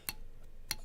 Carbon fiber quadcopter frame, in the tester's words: this is at a higher frequency because these arms are a little bit shorter on here